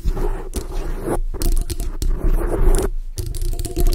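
A black foam microphone windscreen is scratched and rubbed with long nails and fingertips, producing dense, crunchy scraping and crackling dominated by a deep, boomy low rumble. The rubbing comes in uneven bursts separated by brief near-silent pauses.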